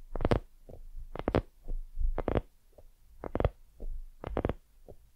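Long nails scratch and tap a white, soft, hollow silicone dumpling lamp with both hands. This makes a series of soft, muffled thumps and brief scratchy bursts that are mostly low and dull, with no bright edge. Each sound dies away almost at once.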